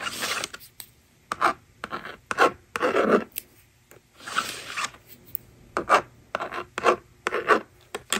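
On a plastic magnetic drawing board resting on a table, the screen is erased and a plastic stylus writes numbers with short, rasping scratches. The quick bursts of dry, bright scraping stop and start with brief quiet gaps between strokes.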